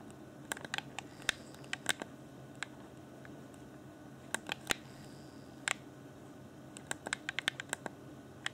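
Fingertips and nails scratch and tap around the D-pad of a transparent plastic Xbox One Afterglow controller, a hollow hand-held shell. About two dozen short, bright plastic clicks and ticks come in scattered clusters over a faint, steady background hiss, each dying away almost instantly.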